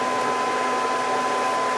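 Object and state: Nothing is struck.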